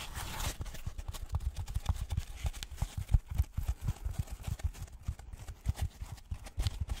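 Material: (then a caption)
Polystyrene foam. A white polystyrene foam packaging block, held in front of a microphone, is tapped with gloved fingers in a quick, uneven run of dull, low knocks that sound like hooves clip-clopping. Each knock is short and dry with almost no ring, and a brief brighter rustle opens the clip.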